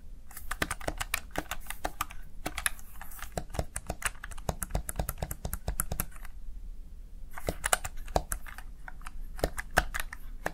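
Fingertips press and tap the keys of a small black plastic backlit Razer Tartarus Chroma gaming keypad, producing rapid, crisp plastic clicks with very short decay over a steady low rumble. The tapping comes in quick bursts, eases briefly around the middle of the clip, then resumes with a few sharper, louder clicks toward the end.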